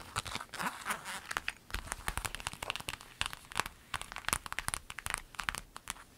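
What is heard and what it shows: A clear lemon-print vinyl zip bag, flat and empty, is scratched and tapped with long nails. Quick, dry taps and crinkly scratches sound over a soft hiss, bright with little low end. Each tap dies away almost at once.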